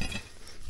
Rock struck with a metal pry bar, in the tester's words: se oye un sonido hueco cuando golpeas una palanca